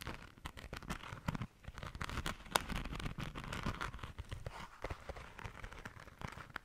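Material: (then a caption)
Glitter fabric. Long nails scratch the glitter-coated surface of a pink glitter fabric zipper pouch held in both hands. The result is a dense, continuous run of dry, crackling scrapes and quick rustling bursts, with a low, muffled handling rumble underneath.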